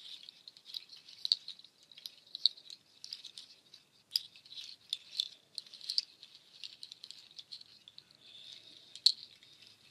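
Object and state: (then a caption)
Nut shell shaker. A nut shell waterfall shaker's strands are handled with long nails, then held up and shaken so the shells rattle. The result is a dry, high, bright clatter of dense clicks in uneven bursts, with no low end.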